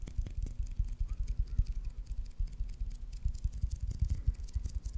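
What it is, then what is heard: Leather baseball. Fingernails tap and scratch the surface and seams of a solid white leather baseball with red stitching, held by the fingers close to the mic. A quick, uneven run of dull, low thumps mixes with faint, bright scratchy ticks. A soft low hum continues underneath.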